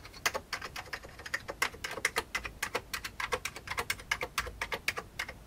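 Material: Plastic.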